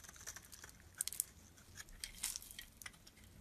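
A metal utility blade scrapes flakes off a solid, pale lilac, faceted bar of soap held in the palm. The sound is a quiet series of crisp, bright, crinkly scrapes and sharp ticks with almost no low end, each one dying away instantly.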